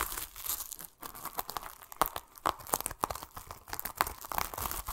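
Fingertips scratch and rub a yellow-green plastic mesh net over the rind of a large, solid whole pomelo while a palm presses on it. The result is a dense run of dry, crinkly scratching and sharp crackles with bright, short snaps and almost no low end.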